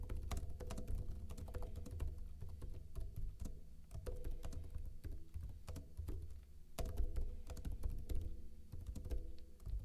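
Fingertips with short blue-painted nails type fast, continuous key taps on a backlit plastic laptop keyboard with hollow keycaps. Each tap is a short, dull, low-pitched clack that dies away almost at once, with a bright click on top. The taps run together into a steady patter.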